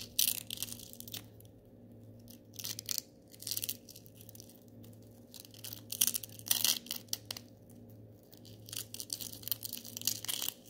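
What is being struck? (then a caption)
Small glitter-coated styrofoam balls. A handful of small gold glitter styrofoam balls is squeezed and crunched in one hand with the fingers. Bursts of bright, crackling, squeaky crushing come in irregular clusters separated by quieter pauses. A faint low steady hum runs underneath.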